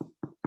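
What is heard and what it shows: Three dull, hollow knocks come from tapping the bottom of a caramel-colored sourdough loaf baked in a Dutch oven. Each low thump dies away quickly, and the hollow sound shows the bread is baked through.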